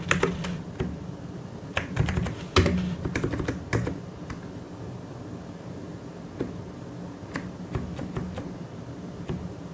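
One hand taps the keys of a white and grey plastic mechanical keyboard with its fingertips, producing irregular bursts of short, sharp clicks and clacks. The clicks come in uneven clusters with brief pauses between them, over a faint, steady low hum.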